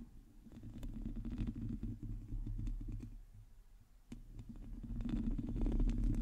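Long teal nails on both hands scratch a hollow metal mesh microphone grille, making a dense, irregular run of low rumbling scrapes and soft ticks. The rustle swells, dips, and builds again toward the end, dominated by deep, muffled low-end tones.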